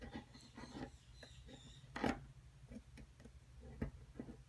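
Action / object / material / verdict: scrape / plaster dig-kit block scraped with a metal pick / plaster / none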